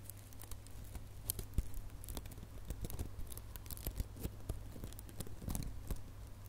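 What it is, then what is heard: Metallic plastic ribbon bow. Fingernails scratch and pinch the loops of a small red metallic plastic ribbon gift bow, giving dense, quick crinkly scratches with bright, sharp clicks over a steady low hum. The touches are short and overlapping, with no ring after each one.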